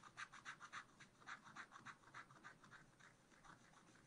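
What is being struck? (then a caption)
Black-coated scratch art paper scraped with a wooden stylus. A wooden stylus scratches lines through the black coating of a scratch art card in a spiral pad. About 13 quick, rhythmic scraping strokes come at roughly three to four per second, each a short, dry rasp centered in the upper mids with bright, papery edges. The strokes soften slightly toward the end and stop without any ring.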